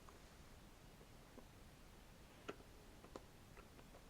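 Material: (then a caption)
Wood. A wooden stick is scratched and tapped close to the microphone, giving light, dry clicks and ticks over a quiet, hissy background. Two sharper taps stand out clearly, with fainter ticks scattered around them and almost no ring after each.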